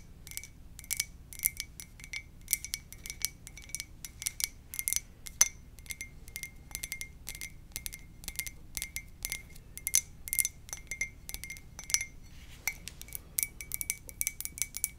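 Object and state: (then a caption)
Ceramic mug tapped with fingernails. An empty, hollow white ceramic coffee mug with a lips print is held in both hands and tapped with long dark nails. The result is dozens of quick, bright clicks in uneven bursts, each with a brief glassy ping near 2 kHz and a high sheen, dying away almost instantly over a faint low hum.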